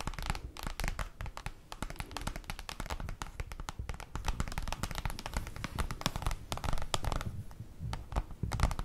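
Paper is tapped with rapid, dense, light strikes that blend into a continuous crisp, papery crackle. Each tap is dry and dies away instantly with no ring, carrying a soft low thump beneath the bright rustle at a steady, quiet level.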